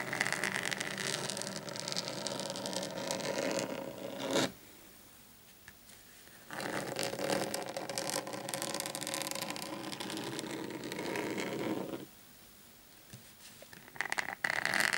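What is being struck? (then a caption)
Desk mat. Short painted fingernails of both hands scratch and tap a large, flat black desk mat lying on a table. Bright, dense scratching runs for about four seconds, pauses, and returns for a longer stretch. After another quiet gap, a few sharp taps and short scratches close the clip.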